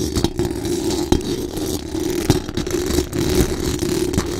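Very long acrylic nails on both hands scratch fast across the hollow metal mesh dome grille of a large condenser microphone. The result is a dense, continuous scraping rasp with a strong low-mid hum-like band near 300 Hz, broken by sharper clicking taps that stand out here and there.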